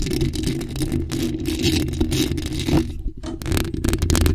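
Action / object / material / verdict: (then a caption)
scrape / metal mesh microphone grille / metal mesh / none. Long acrylic nails cupped around a bare, hollow black metal mesh microphone grille scratch it fast. The result is a dense, continuous scratching rasp over a heavy, boomy low rumble, with bright bursts of friction noise. There is a brief dip in the sound just past the three-second mark before it picks up again.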